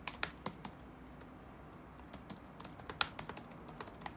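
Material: Plastic.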